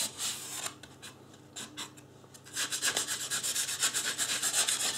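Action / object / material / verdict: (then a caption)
scrape / polystyrene foam mannequin head / polystyrene foam / none. Fingertips and a fingernail rub and scratch the scalp area of a life-size white polystyrene foam mannequin head. The result is a bright, dry, scratchy rasp: a few sparse, quieter strokes at first, then steady, rhythmic scratching at about four strokes per second that grows louder through the second half.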